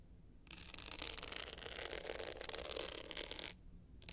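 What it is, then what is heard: Glitter hard-shell clutch scratched with nails. Long pointed nails scratch the navy glitter top of a small rectangular hard-shell clutch bag with a gold metal frame, lying flat. After a quiet start, a dense, bright, gritty rasping runs steadily for about three seconds, then drops back to near silence.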